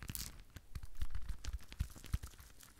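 A rhinestone-covered decorative ball, held in both hands close to the microphone, is tapped and scratched with long nails. The result is a quick, uneven run of small clicks and scratchy crinkles over deep, soft bumps, with brief bright ticks on top.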